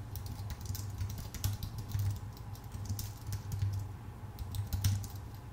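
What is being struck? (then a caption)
Aluminum-bodied keyboard with plastic keycaps. Both hands type with their fingertips on a full-size white Apple Magic Keyboard, with plastic keycaps on a thin aluminum body. A steady stream of quick, light, bright key clicks runs over a constant low hum. The clicks come in uneven bursts, with a few louder taps standing out.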